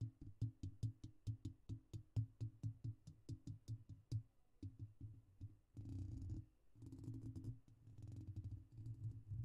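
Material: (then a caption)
Metal mesh. Cupped fingertips lightly tap around the hollow metal mesh grille of a silver microphone, producing a quick, even run of dull, deep thumps with sharp clicky edges for about four seconds. The taps then thin out before the fingertips rub over the mesh, giving bursts of muffled, rumbling scratchy friction.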